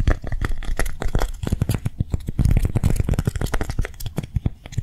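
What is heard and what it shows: A hand-sized piece of dried pink lightweight clay is held, scratched and tapped with long nails. It gives a rapid run of dry, clicky taps and scratchy rubs with a dull, low-heavy thud and no ring.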